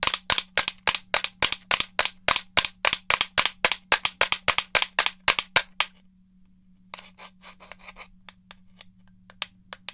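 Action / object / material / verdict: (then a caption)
tap / plastic game controller / plastic / none. A hollow black plastic gamepad, held beside a foam head, is tapped rapidly with fingernails, making sharp, bright, dry clicks that stop almost instantly. A steady run of taps fills the first six seconds, then after a short pause a quieter, sparser set of lighter taps follows, all over a faint low hum.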